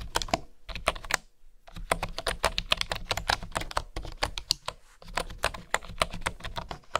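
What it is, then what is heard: Bamboo keyboard. Fingertips type on a bamboo keyboard with flat wooden keys, making a quick run of sharp, dry, bright clicks with a soft low hum beneath. The tapping comes in bursts with short pauses around 1.3, 4 and 5 seconds.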